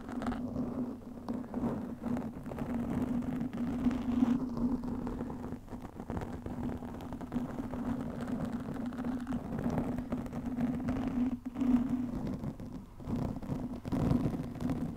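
A black foam windscreen on a microphone is scratched and gripped by both hands with long nails, producing a continuous rustling, muffled scrape with a steady low hum. The sound stays dense and mid-low throughout, with brief dips and surges as the grip shifts.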